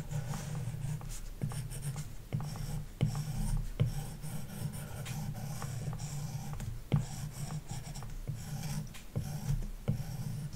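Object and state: Stylus scratching on a matte-protected glass tablet screen.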